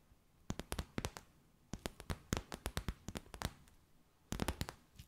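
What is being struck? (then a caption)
Stiff clear plastic bag. Long white nails tap and crinkle a clear, stiff, empty plastic bag with gold flecks, producing about two dozen sharp, dry, bright clicks with almost no ring. The clicks come in three quick clusters separated by short quiet gaps.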